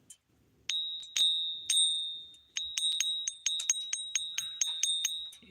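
A one-ounce silver bullion coin is struck or flicked for a ping test, giving 15 bright, bell-like pings that each leave a high, sustained ring, with faster taps toward the end. The clear ring marks it as real silver.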